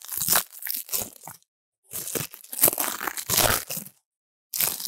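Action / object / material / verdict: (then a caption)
scrape / dried leaves in a steel bowl / dried leaves / none. Brittle dried leaves in a steel bowl are crushed and crunched by fingertips, with a foam lav mic held in the pile. Bursts of dry, bright crackling and crinkling come in three bursts, separated by brief silences.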